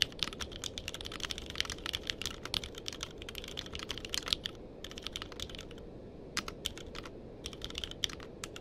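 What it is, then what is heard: Mechanical keyboard with plastic keycaps. A compact purple-cased mechanical keyboard with cream and purple plastic keycaps, resting on a blanket, is typed on steadily with the fingertips of both hands. Quick, bright, clicky keystrokes patter in dense runs with short pauses, over a low, soft background hum.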